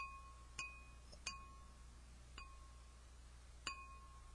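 A small, clear, empty drinking glass held by hand is tapped several times with a yellow plastic highlighter, each tap giving a bright, chime-like ring centred near 2.5 kHz with a tone near 1 kHz. Each ring fades quickly over a quiet, steady low hum.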